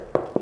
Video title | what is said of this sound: Baking No Knead Artisan Bread ⚠️ Don't Make These Mistakes - Recipes | it sounds hollow it sounds light i was scared it would be very dense